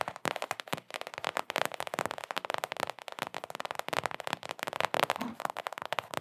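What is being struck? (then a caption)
Mini rubber basketball. Long acrylic nails tap rapidly on a small, hollow Knicks mini rubber basketball. The result is a dense, continuous stream of sharp, dry clicks centered in the midrange with almost no low end, each tap dying away almost instantly.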